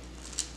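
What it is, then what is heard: Crisp-baked garlic bread crust. The crust of garlic bread baked at 400°F (200°C) gives one short, bright, crisp crackle over a steady low hum. The loaf is crisp, its bottom baked well, and it came out like a hard bread from the high oven temperature.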